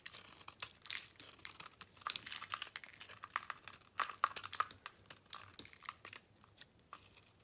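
A solid pink bar of soap is held in a hand with long nails while a metal blade scrapes and chips flakes off it. The result is a dense run of short, dry, crinkly scraping and crunching sounds with bright high-end texture and almost no low end.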